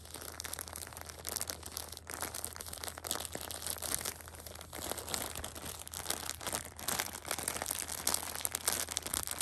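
A Shopkins pocket tissue multipack in clear plastic wrap is handled as long painted nails tap and scratch the film and fingers rub across it. The result is a steady stream of bright, crisp crinkling and rustling with quick clicky taps throughout, at a soft level with little low end.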